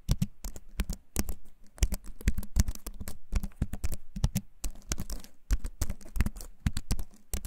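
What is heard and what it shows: A compact keyboard with a wooden frame and plastic keys is held up close to a microphone and typed on with the fingertips. A rapid, uneven stream of short, clicky keycap taps comes through, each dull and low-heavy with a quick bright tick, dying away almost at once.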